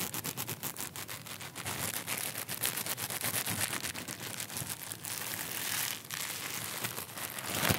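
A small, clear, crinkly plastic wrapper held in one hand is crumpled and rubbed between the fingertips close to the microphone. It makes a continuous run of sharp, bright crackles and rustles with many quick snaps. The crinkling is mostly high-pitched with little low end and stays steady throughout.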